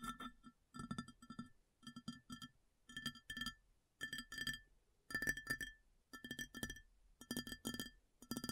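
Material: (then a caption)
Ceramic. Long fingernails tap rapidly on a large, round, empty white ceramic plate in short, irregular bursts separated by brief pauses. Each flurry of clicking taps brings out a bright, glassy ring centered near 1.8 kHz that dies away almost at once.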